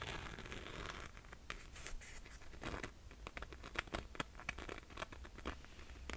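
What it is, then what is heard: Glitter sandal strap. Long nails scratch and tap the glitter strap of a single rose gold glitter slide sandal with a metallic faux-leather buckle strap and a suede-covered footbed. The result is a close, quiet stream of gritty, bright rasps broken by many quick, sharp clicks, over a faint low hum.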